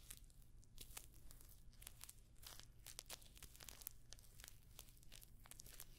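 Long nails scratch and tap across a rectangular clutch purse covered in rows of small, hollow, rose-gold metallic pyramid studs, held up close to the microphone. The result is a quiet, continuous stream of sharp, bright clicks and crinkly scratches over a low steady hum.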